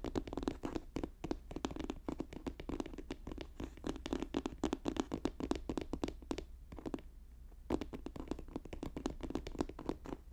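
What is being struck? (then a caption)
Paper notebook. Fast tapping and scratching on a paper notebook, with many quick, dry, irregular taps and short scratches that have a low papery body and no ring. A brief pause comes around 7 seconds before the rapid tapping resumes.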